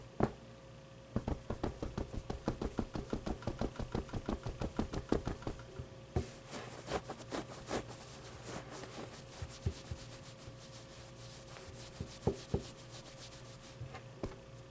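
A hand rubs and scratches the fabric top and fuzzy pit of a medium, soft stuffed avocado plushie. A quiet, fast run of short, dry scratching strokes in the first half thins out into occasional soft scrapes and taps. A faint steady tone hums underneath throughout.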